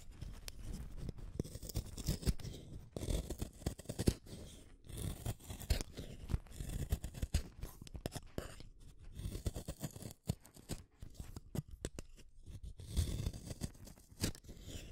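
A small metal blade shaves a solid red wooden colored pencil in quick, repeated strokes. The result is a continuous, dense run of soft, crunchy scraping and shaving sounds, heavy in the low end with faint bright edges.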